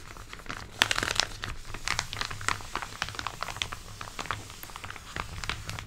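A flat, empty silver metallized foil bag lying on a white table is pressed, smoothed and scratched with long pink nails and fingertips. It makes a dense stream of bright, crisp crinkling and sharp crackles that stop instantly, over a faint low hum.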